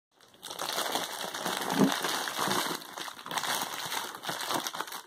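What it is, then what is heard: Plastic bubble mailer. An Amazon Prime poly bubble mailer, flat and closed with contents inside, is handled with the fingertips and crinkled between both hands. Dense, bright plastic crinkling and crackling runs nearly the whole clip after a short silent start, swelling into louder bursts and easing between handfuls.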